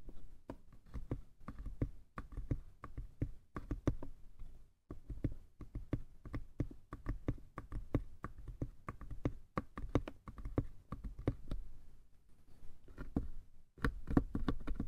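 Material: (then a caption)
Wood. Fingertips tap the sides of a small hollow wooden box, then fingernails tap and scratch its lid. Dozens of quick, dull, low knocks follow one another with almost no ring, broken by brief pauses near five and fourteen seconds, with faint scratchy texture between the taps.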